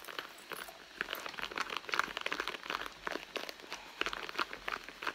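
Long nails scratch and pinch along the seam of a hollow red soft-leather handbag. The result is a steady run of dry, crinkly scratches and short crunchy bursts, bright and midrange with no low end, each dying away almost instantly.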